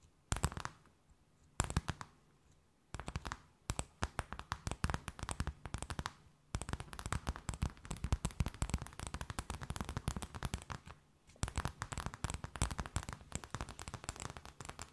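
A thin, empty, clear plastic bag held between both hands is tapped, scratched and crinkled with long nails. It makes dense bursts of sharp crackling and crinkling clicks, broken by a few brief pauses. Each snap is dry and dies away almost at once.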